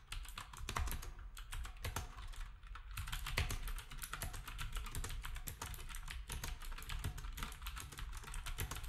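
Fingertips of both hands type steadily on a black, retro, typewriter-style keyboard with round plastic keycaps. The result is a dense, rapid stream of sharp plastic clicks over a soft low thump, with short, bright key transients that die away quickly.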